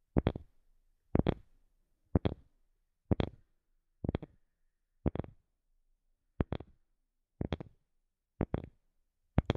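A wooden object is tapped in ten quick double-tap bursts, about one per second, with no talking. Each burst is dry and low-pitched with a brief bright click on top, and dies away almost instantly, leaving silence between.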